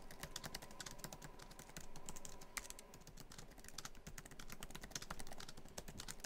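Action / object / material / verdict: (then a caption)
tap / laptop keyboard with plastic keys in a metal body / plastic / none. Fingertips of both hands type quickly across many keys of a MacBook Pro keyboard, whose black plastic keys sit in a hollow silver aluminum laptop body. The result is a fast, steady stream of short, dry clicks with bright ticking tops and a soft low thud beneath, each dying away almost instantly.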